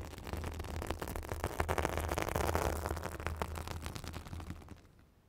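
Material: Synthetic fibre.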